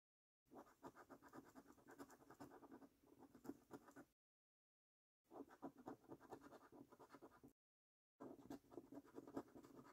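A coin scratches the latex panels of a thin paper £25 National Lottery "5x £1 Million Prize Portal" scratch card. Three bursts of quiet, rapid, raspy scraping are separated by short silences, with the sound sitting mostly in the low-mid range and little deep bass or high treble.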